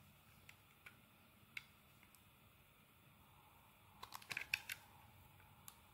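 A metal blade carves thin curls off a purple and white marbled solid bar of soap held in the palm. Faint, dry scrapes and light ticks come at scattered intervals over a quiet hiss, then a quick cluster of brighter, crisp shaving sounds follows near the end.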